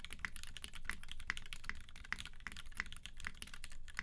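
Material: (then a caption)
Plastic, aluminium. A tenkeyless UTD 360C mechanical keyboard with a gummy-worm mount, a silver aluminum case, white PBT keycaps, and Vintage Black switches lubed with 205g0 and filmed is typed on continuously with the fingertips of both hands. It produces a steady stream of short, dry keystroke clacks with a bright peak near 2 kHz over a low, muffled thock. Each press dies away almost instantly.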